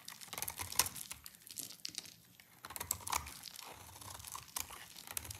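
An oval, solid bar of dry light-green soap, held in one hand, is scraped and shaved with a utility knife blade, and the shavings pile up below. The result is a quick run of crisp, bright crunching and crinkling scrapes with dry, short-lived flakes of sound. A few louder cuts stand out between softer scratching.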